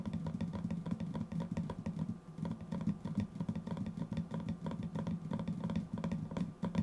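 A small, round, white-lidded metal tin, likely hollow, is held beside the microphone and tapped on its lid with the fingertips and nails. The result is a steady stream of quick, clattering taps with short, dull knocks and a low hollow tone around 220 Hz, plus brighter clicks from the nails.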